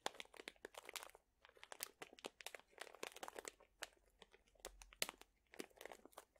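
A sealed plastic pouch full of dried chili peppers is crinkled and squeezed with fingertips. Quiet, dense bursts of bright crinkling and crackling come in quick clusters with short pauses, the plastic and dry peppers rustling and crunching with almost no low end.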